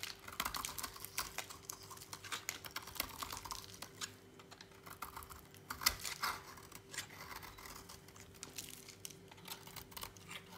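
A utility knife blade notches and shaves a solid, dry orange bar of soap. Quick, dry, bright scraping and crisp cutting ticks follow one another closely, with a louder snap near the middle, over a faint steady hum.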